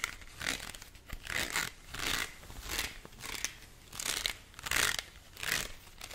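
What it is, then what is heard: Plastic colander. A white perforated plastic colander with a hollow bowl shape is held in both hands close up while fingernails scratch and tap its ribbed, holed surface. Bright, crinkly scraping comes in repeated swells, with soft taps mixed in.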